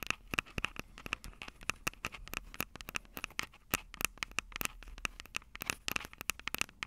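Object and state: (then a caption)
Fingernails tapping metal microphone capsules. Long purple nails tap and scratch the metal microphone capsules of an upright Tascam DR-05 recorder. The result is a rapid, uneven stream of sharp, bright clicks with a thin, scratchy crackle between them. Each tap carries a faint metallic tone near 2.6 kHz that dies away almost instantly.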